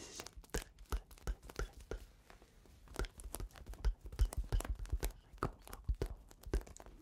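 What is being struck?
Foil-lined paper tea pouch with loose tea.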